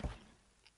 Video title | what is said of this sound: 월인선원 - 2023 봄정진법회 3 - 달마혈맥론3 | 이건 두드리는 소리지. 책상에서 나는 소리죠